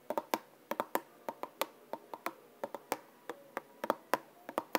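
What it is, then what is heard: Plastic bottle with liquid, tapped with nails. A small clear plastic bottle with a white cap and green label, partly filled with yellow liquid, is held in one hand and tapped and scratched with long painted nails. About 21 quick, dry clicks land in an irregular rhythm, each with a hollow knock around 1 kHz and almost no ring or low end.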